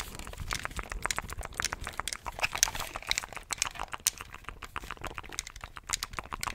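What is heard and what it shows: Fingertips press the buttons and tap the shell of a hollow, handheld black plastic gamepad held near the mic. The result is a steady stream of rapid, dry clicks and light crackly taps. Each is short and bright with almost no ring, over a quiet background.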